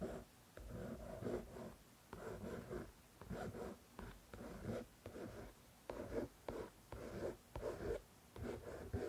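Long nails scratch and tap the glossy card back cover, then the front cover, of a solid paperback copy of "The Shack." Eleven separate bursts of soft, dull rasping and tapping sit in the low-mid range with very little high content, and each one dies away quickly into quiet gaps.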